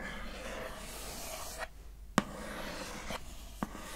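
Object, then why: Glossy printed cardboard card. Long nails scratch and rub across the glossy surface of a thin, flat, square printed cardboard card lid showing a face, producing a steady soft, hissy scraping. Two brief sharp clicks stand out partway through, as the scratching pauses and then resumes.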